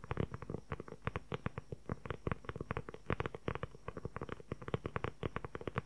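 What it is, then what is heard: Leather journal cover. A closed, hand-sized dark brown leather journal cover with a flap and snap button is held in front of the recorder and tapped and scratched quickly with fingertips and short nails. The result is a rapid, uneven stream of short, dull, low-heavy taps that die away almost instantly, with scratchy texture between them. A faint steady high hum, possibly insects, sits in the background.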